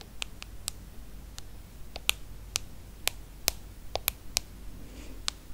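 Long acrylic nails tap the glass screen of a small, solid iPhone held flat. The result is a quick, irregular run of sharp, bright clicks that stop almost instantly, over a faint low background hum.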